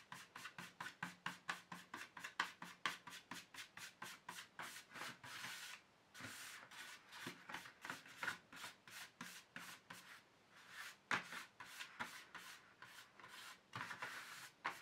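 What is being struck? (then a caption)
Plastic tray. Fingertips and nails rub and scratch the flat, dusty base of an empty black plastic paint tube tray. Quick, rhythmic rasping strokes come first, then longer continuous scratching passes with short pauses between them. The sound is a dry, bright, papery scrape with almost no low end and no ring after each stroke.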